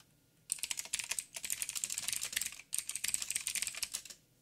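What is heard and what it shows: Fingertips type on a backlit mechanical keyboard with plastic keycaps and blue clicky switches. Rapid, bright clicky keystrokes come in two bursts with a short pause between, each click sharp and quickly decaying, with almost no low end.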